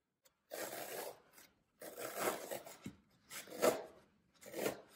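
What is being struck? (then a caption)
Green floral foam block. A solid green floral foam brick on a table is pressed and crushed across its surface by fingertips and thumbs of both hands, then turned over to show its printed side. Bursts of dry, crackling crunch arrive in several uneven waves, with a gritty midrange body around 600 Hz and a bright, fizzing top. Each crush fades quickly into brief silence before the next.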